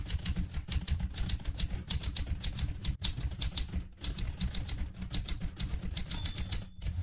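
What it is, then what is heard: Metal manual typewriter being typed on. Fingertips with long red nails type steadily on a vintage metal-bodied manual typewriter with plastic keys and paper in the carriage. A rapid run of sharp, bright clacks rides over a steady low rumble, broken by brief pauses near 3 and 4 seconds. The typing continues to the end of the clip.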